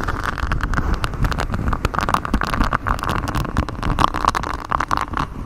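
Fingers in black knit gloves scratch and rub a flexible grey silicone honeycomb-textured mic cover, a rubbery hexagon-patterned sheet bent over the microphone. The result is a dense, continuous run of scratchy rustling with a deep, muffled rumble underneath, a steady midrange hiss around 1 kHz, and many quick brushing strokes with no pauses.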